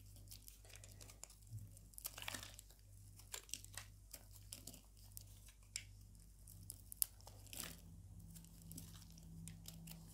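A palm-size orange oval bar of solid soap with a ridged surface, held in one hand with long orange nails, is scraped and sliced with a metal blade held in the other hand, surrounded by piles of soap flakes. Dry, crisp crackling and crunching scrapes come in quick bursts of bright, brief texture over a steady low hum.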